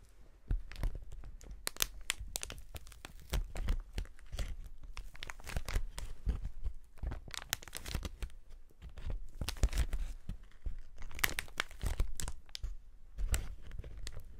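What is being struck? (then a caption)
Plastic air-cushion packaging sheet. A clear plastic air-cushion packaging sheet is held flat in both gloved hands and gripped and flexed. It makes continuous crinkling and crackling with dense, sharp, bright snaps over a low rumble, with bursts that swell and fade throughout.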